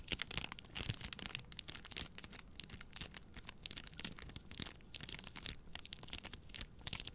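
Long nails scratch and squeeze the crinkly plastic film wrapped around a pack of paper towel rolls. The result is a dense, steady run of bright crackling and crinkling over a soft low rumble, with quick dry crunches that stop almost at once and no ring.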